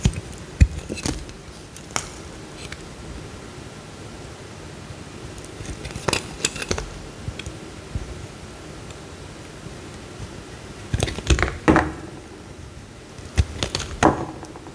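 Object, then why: Bar of soap cut with a knife blade. A utility knife blade scrapes and cuts a small solid white bar of soap, peeling off slices. Short, crisp scraping clicks and brief rasps come in scattered clusters over a quiet, steady low hum, with bright edges on each cut.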